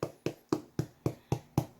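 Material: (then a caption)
Bread. A finished crusty, golden no-knead Dutch oven bread loaf is flipped over and tapped on the bottom seven times at an even pace. Each tap gives a short, dull, hollow knock with almost no ring. The hollow sound shows the loaf is baked through.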